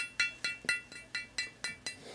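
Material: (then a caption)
Glass. An antique glass claret jug, repaired with glue and with a crack through its base, is pinged eight times. Each tap gives a bright, glassy clink around 2.7 kHz that dies away quickly, and the repair is judged to be looking pretty good.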